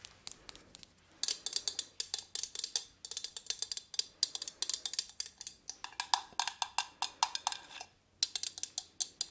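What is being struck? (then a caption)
Small metal plant pot. Long nails tap and knock the metal sides of a small gold metal plant pot holding an artificial pine plant, held in one hand. The sound is a quiet flurry of rapid, bright, dry clicks and knocks in quick bursts with brief pauses. Each tap dies away almost instantly with no ringing.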